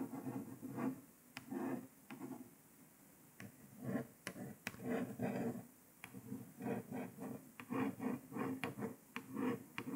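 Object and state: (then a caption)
Paper sticker on laptop lid. A single long nail slowly traces the printed words on a paper sticker stuck to a grey laptop lid, producing soft, low scratching strokes. Quiet rhythmic scrapes alternate with faint sharp ticks, with short pauses between strokes.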